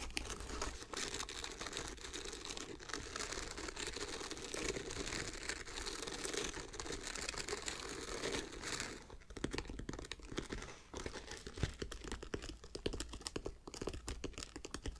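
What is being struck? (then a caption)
Woven nylon backpack straps. Long dark nails scratch and pluck the crossed, textured woven nylon webbing shoulder straps on the back of a dark green backpack. A steady, dense crinkling scratch gives way after about nine seconds to sharper, brighter, more broken-up plucks and scrapes.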